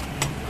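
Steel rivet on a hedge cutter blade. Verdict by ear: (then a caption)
Tight. A hammer strikes the corner of a steel rivet on a hedge cutter blade to tighten it during sharpening. A single short, bright metallic tap rises briefly over a steady low hum and fades within about a third of a second. The rivet is now fully tight, and the sound shows it.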